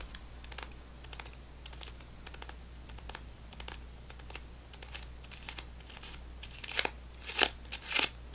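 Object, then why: Stick of gum in a foil wrapper. A single stick of gum in a foil wrapper is held in the fingers and scratched and tapped with long nails. Soft, bright clicks and scratchy crinkles repeat irregularly over a steady low hum. Near the end come a few louder, sharper crinkling bursts.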